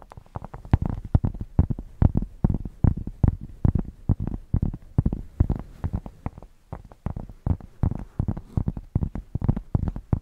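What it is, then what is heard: Thick cork square being scratched. A thick, solid cork square held against the microphone is scratched with long painted nails, producing a rapid, uneven series of short, deep scratching strokes. The sound is heavy and bassy, almost all low rumble with little brightness, and each stroke stops quickly with no ring.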